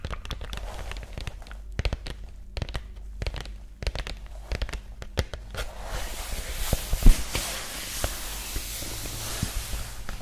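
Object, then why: Pressboard document folder. Long nails tap a flat green cardboard pressboard document folder with an elastic band, held close to the mic, making a quick run of sharp, dry clicks. About halfway through, the tapping gives way to steadier, brighter scratching across the folder, with an occasional louder tap and a low steady hum underneath.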